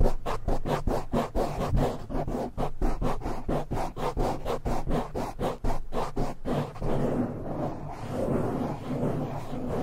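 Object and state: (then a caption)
Foam microphone windscreen being scratched. Both hands scratch fast and densely with short nails across a black foam windscreen on a silver microphone. A rapid run of close, dull, muffled scratching strokes heavy in low rumble fills the first six and a half seconds, then blurs into a continuous, denser rubbing texture to the end.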